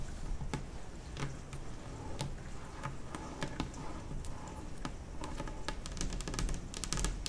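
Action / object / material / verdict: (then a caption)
tap / glossy laminate kitchen table top / laminate / none. Long nails on both hands tap fast across the large, solid top of a white glossy laminate kitchen table. The result is a steady stream of sharp, bright clicks with short decays over a low background rumble.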